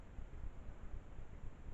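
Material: Nothing is struck.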